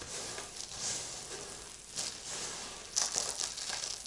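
Two hands with long lilac nails crush, scoop and then press and rub flat a heap of dry crumbled soap shavings, flakes and small chunks, on a white surface. A bright, dry crinkling and crunching runs throughout, with sharper crackling bursts near the end.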